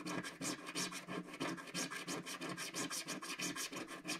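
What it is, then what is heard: Scratch-art card being scratched. A wooden stick scratches quick strokes across a flat, solid black-coated scratch-art card page. About twenty bright, raspy scraping strokes repeat in a loose, steady rhythm of roughly three per second, with a faint low tone under each stroke.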